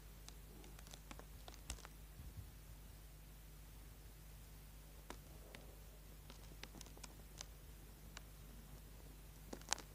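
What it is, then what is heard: Bar of soap being scraped. A small solid orange bar of soap, held in the hand over a board, is scraped and carved with a small pointed tool, leaving shavings on the board. Faint, dry scratches and brief bright ticks come in scattered bursts over a steady low hum, with the sharpest crack near the end.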